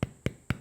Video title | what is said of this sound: How to make Bread & Pizza Base (Thermomix & handmade) - Not Only Carrots vegan cooking show | it has a hollow sound like that that is a cooked loaf of bread